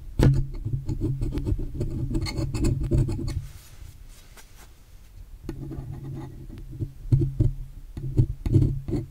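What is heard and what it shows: A metal spatula-like tool scrapes across the silver metal body of a USB microphone next to the volume knob, lifting off flaky residue. Dense, low rasping scrapes with short clicks run for about three seconds, then ease to a quiet pause. The scraping returns with sharper, scattered strokes.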